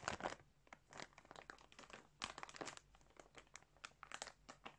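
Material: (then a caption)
Plastic. Fingertips press and rub a large clear plastic bag filled with balls of colourful yarn lying on a surface. The result is a steady run of quiet, bright crinkling bursts with short crisp snaps and no lingering ring.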